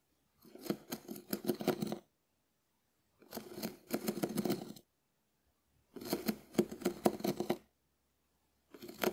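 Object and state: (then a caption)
Dried konjac sponge scraped. A hand-held, hand-sized, shell-shaped, hard and porous dried konjac sponge is scraped and scratched with a small wooden spoon. Four bursts of dry, crackly, rasping scratches, each about one to two seconds long, are separated by silent pauses; the last burst is cut off at the end.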